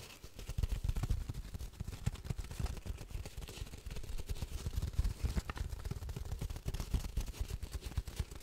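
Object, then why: Cardboard tube. A hollow cardboard tube about 40 cm long, wrapped in patterned paper and held horizontally, is tapped and scratched along its length with long painted fingernails. Dense, quick, soft thumps and scrapes run continuously, with a deep, boomy low end and little brightness.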